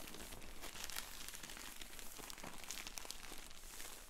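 Fingertips in black finger sleeves press, rub and crinkle the surface of a sealed, filled yellow polyethylene shipping mailer lying on a wooden table. A steady run of bright plastic crinkles and sharp crackles plays over a faint low rumble, staying at an even, quiet level throughout.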